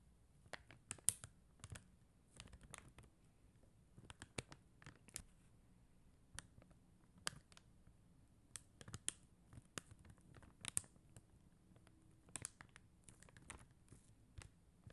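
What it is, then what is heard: Acrylic rhinestone stickers. Long teal acrylic nails tap and click on a flat sheet of clear and blue faceted plastic gem stickers on white paper backing. The result is a quiet, irregular series of quick, sharp, bright clicks with almost no ring, over a faint low rumble.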